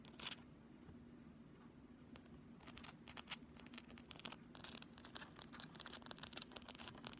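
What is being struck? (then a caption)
Thin flexible plastic ruler. A pink, thin, solid, flexible plastic ruler held vertically is scratched and tapped with long fingernails along its edge and face. Quick, bright clicks and scratchy bursts start sparse and grow busier, all over a quiet, steady low hum.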